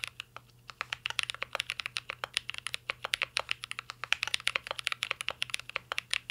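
A full-size mint-green Cyberboard R3 mechanical keyboard with a metal case, plastic keycaps and Holy Panda switches rests on a desk and is typed on steadily with the fingertips of two hands. The result is a fast, continuous stream of short, bright clacks with almost no low end, over a faint steady low hum.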